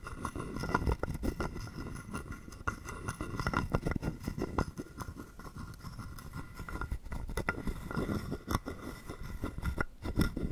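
A hollow carved wooden frog guiro, held in the palm, is rapidly tapped and scraped with a wooden stick. The result is a dense, continuous stream of short, dry knocks and ratchety scrapes that die away almost instantly. The sound sits mostly in a hollow low range with a woody thump and only faint bright clicks on top.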